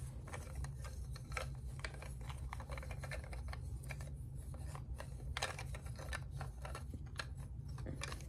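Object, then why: Small carved wooden figure. Fingertips and nails tap and scratch over the surface of a small, solid, reddish-brown carved wooden figure with crossed limbs, held up in both hands. Quick, dry, bright clicks and brief scratches follow one another in a loose, uneven rhythm. A steady low hum runs underneath throughout.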